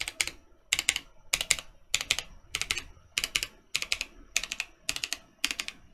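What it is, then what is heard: Mechanical keyboard typing. Fingertips of both hands, then one hand at the end, type quickly on a Mercutio 40% mechanical keyboard with plastic keycaps and Boba U4T switches. Short bursts of sharp, bright clicking keystrokes come in roughly ten clusters of two to four taps each, with almost no low end and little ring.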